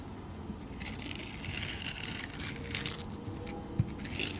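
A utility knife blade slices and scrapes the purple holographic glitter coating off a solid, rectangular, hand-sized soap bar held in a hand with long teal nails. After a quiet start, a steady run of bright, crisp scraping and crackling builds from about 0.8 seconds and continues to the end over a low background rumble. A sharper click stands out near 3.8 seconds.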